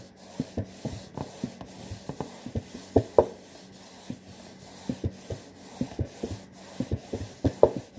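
Fingertips and nails scratch along the front panel and top edge of a hollow, printed cardboard saltine cracker box. The result is a series of soft, dry scratching and rubbing bursts with a muffled, low-mid tone and almost no bright edge. Each burst cuts off quickly, with quiet gaps between the strokes.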